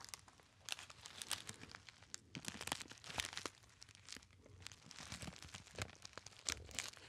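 A small, hollow, apparently empty gold metallized foil pouch is crinkled and squeezed by fingertips. It makes a continuous run of bright, crackly crinkles and sharp snaps that rise and fall in loudness. Each crackle dies away almost at once.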